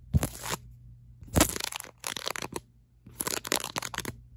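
Long acrylic nails tap and scratch the back of a ribbed black silicone phone case held low. The result is fast, aggressive bursts of dry, crackly scraping and clicking, with a bright, gritty texture over a low hum. They come in three clusters separated by short pauses.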